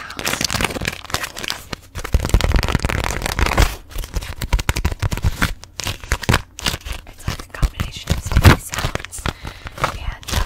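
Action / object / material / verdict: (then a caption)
scrape / beeswax-coated fabric food wrap / waxed fabric / none. A thin, flexible beeswax-coated fabric food wrap with a grey hexagon pattern, held in both hands, is gripped, crinkled and tapped with long manicured nails and fingertips. Dense, fast crackling and crinkling runs throughout in quick irregular bursts with short pauses, without clearly separated single hits.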